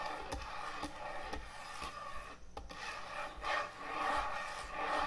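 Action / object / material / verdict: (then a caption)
scrape / thick end-grain hardwood cutting board / hardwood / none. Long acrylic nails and fingertips tap and scratch quickly across the top of a large, thick, solid end-grain hardwood butcher block cutting board resting on a counter. The result is a steady, dry, rasping rub with soft knocks mixed in, mostly in the mids with a bright scratchy edge. The level swells slightly as the scratching intensifies toward the end.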